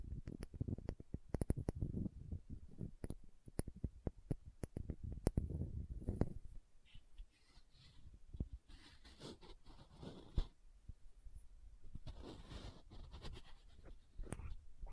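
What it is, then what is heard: Glass dropper bottle tapped and scratched with nails. A small green glass dropper serum bottle, tilted sideways, is tapped and scratched with long nails on the glass and its metal collar. Quick, sharp clicking taps fill the first half, then give way to softer, airy scratching with occasional taps. The sound stays quiet and close throughout.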